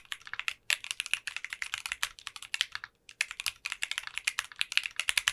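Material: Polycarbonate.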